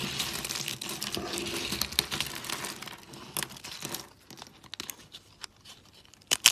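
Thin, brittle teal dry soap sheets are bent and snapped between fingers with lilac nails. A dense, bright crinkling crackle fills the first four seconds, then thins into scattered sharp snaps, ending with a loud crack near the end.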